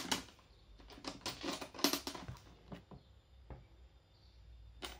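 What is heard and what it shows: Gloved hands tap a closed, hollow aluminum-framed carry case with a ribbed dark panel lid and plastic corner caps. The result is a run of quick, bright, clicky taps that die away almost at once, then quieter scattered knocks as the case is tilted to show its front edge, and a final sharp tap.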